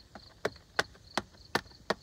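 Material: Wood.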